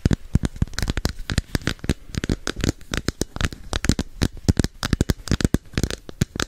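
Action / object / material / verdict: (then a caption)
tap / hollow plastic capsule container / plastic / none. Long nails rapidly tap and scratch the surface of a hand-sized, hollow red and orange plastic capsule held beside the microphone. The result is a dense, irregular stream of short, dry clicks and scrapes with a hollow, low-weighted thud, with no ringing between strikes.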